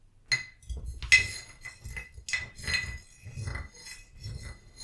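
A small painted ceramic vase holding dried lavender, standing on a book, is tapped on its body with a short wooden stick while a hand with long nails steadies it. Each tap gives a light, bright clink with a clear ring near 2 kHz that fades almost at once, with soft low rustling and handling noise between the taps.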